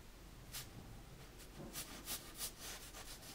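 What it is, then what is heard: Paper sketchbook page. A metal mechanical pencil held in the fingers scratches and draws lines across the white drawing paper of a large spiral-bound sketchbook lying flat on a dark table. Quiet, bright, papery scratching comes in a series of short strokes that grow more frequent toward the end, over a faint low hum.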